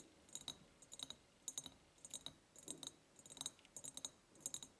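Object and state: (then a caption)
Ribbed glass jar tapped with fingernails. Long painted nails tap and scratch the ribbed sides of a large empty glass jar with a white ceramic lid, tied with a gingham and lace ribbon and a ceramic heart charm. Quiet, bright, clicky taps come in loose, irregular clusters with almost no low end. Each tap dies away almost at once, leaving a soft scratchy hiss between them.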